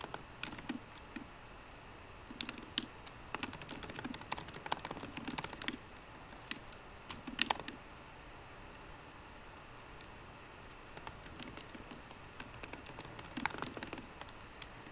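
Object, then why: Laptop keyboard, plastic keys in an aluminium body. Fingertips of both hands type on a 13-inch MacBook Pro keyboard with plastic keys in an aluminum body, while the mouse sits untouched; the keyboard is marked as not sounding normal. Quick, light, bright clicks come in bursts through the first six seconds and again around seven and a half seconds. After a near-silent pause, typing resumes from about eleven seconds to the end.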